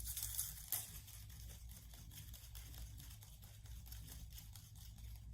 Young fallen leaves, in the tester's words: When I shake them, it's a little different sound. It's less dry than the other one.